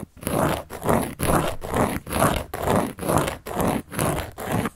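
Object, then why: Large round cork board. A carving tool scratches across a large, round, solid cork board in about ten steady, rhythmic strokes. Each rough, grainy stroke swells and fades with a bright, hissy edge.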